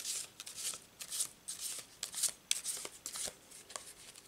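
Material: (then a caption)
Laminated paper. A full Thoth Tarot deck of laminated paper cards is overhand-shuffled with the fingers, held in both hands above a cloth-covered table, so the cards slide and rub against each other. Thirteen quick, uneven, bright papery swishes follow one another, each a soft rasp with almost no low end that stops at once.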